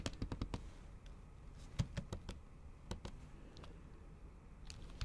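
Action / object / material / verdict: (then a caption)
tap / laptop keyboard keys under a silicone cover / silicone / none. Long acrylic nails tap by their tips on a MacBook Pro keyboard whose plastic keys sit under a thin pink patterned silicone cover. The typing comes in uneven bursts of short, muffled, low clicks, with occasional brighter nail ticks and very little ring.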